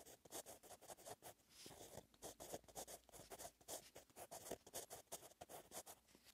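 A blue Pentel gel pen's metal-tipped ballpoint, held in the fingers, writes by hand on the lined page of an open paperback notebook lying flat. The result is a quiet, continuous run of short, dry scratching strokes with a bright, airy edge and almost no low end.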